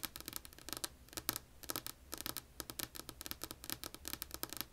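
Long polished nails tap rapidly on a flat, solid, light wood-grain tabletop, giving about 28 quick, dry clicks with almost no ring. The taps are bright and crisp, with a faint low hum underneath.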